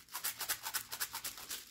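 A container of small 1/4 inch steel slingshot balls from a Daisy P51 slingshot kit is shaken in about eight quick strokes, giving a bright, dense rattle of many balls that sounds shorter and higher pitched than the larger shot.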